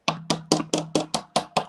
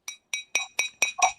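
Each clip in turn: First: plastic cup, not glass. Second: glass cup, real glass.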